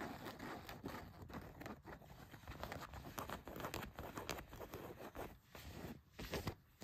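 Long nails scratch the back pocket of blue denim jeans, producing a steady run of quick, rough scraping strokes. The soft, dry rasping bursts follow one another closely with brief pauses, and each stroke stops short with no ring.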